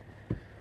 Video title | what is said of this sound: Tower Ladder Bucket Positioning | we're gonna sound that roof all right it's solid